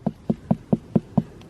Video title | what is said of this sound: 大院子的好处就是各个品种的南瓜都可以种 | give it a thump so if you hear a nice Hollow sound that's another good sign that it's ready